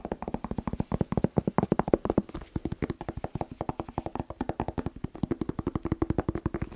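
A whole, fresh, hand-sized red bell pepper, hollow with waxy skin, is tapped rapidly with fingertips and nails. About 58 quick, dry, hollow taps follow in a steady stream, each dying out almost instantly. They have a low thumping body and a faint tone around 360 Hz, with no bright ring.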